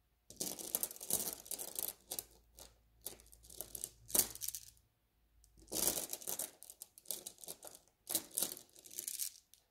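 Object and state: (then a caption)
Mesh bag of glass gem beads. A net bag of small blue glass gem beads lies flat while fingertips rub and scratch across it, making the beads shift and clink against each other. Bursts of bright, crisp clicking and rustling come in uneven bouts with short quiet gaps between them, and there is very little low end.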